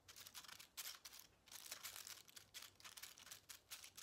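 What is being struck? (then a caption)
Small crumpled aluminium foil ball. A small aluminium foil ball, resting on a table and then held between the fingers, is scratched and crinkled with the nails. The result is a quiet series of bright, dry crinkling and scratching bursts with almost no low end, each fading quickly.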